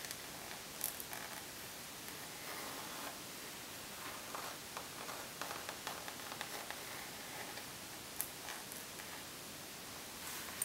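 Long nails tap and scratch on a rose gold pebbled faux leather makeup bag lying on a table, working near its logo plate and along the sides. A steady bright, hissy scratching fills the clip, broken by sharp, quick ticks of tapping.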